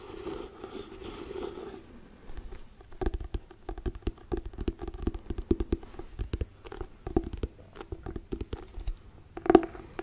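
Fingertips and nails scratch and tap the glossy cardboard cover of a hardcover paper book. A soft, steady scratching opens the clip, then gives way to a dense run of short, dry taps and scrapes with a low, woody body. A louder tap lands near the end.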